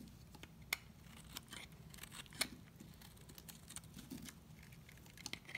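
A utility knife blade carves a dry, green and white marbled soap bar, shaving off thin curls until only a thin piece remains. Quiet, crisp scraping and snapping clicks come at an irregular pace, bright and short, over a low soft rumble.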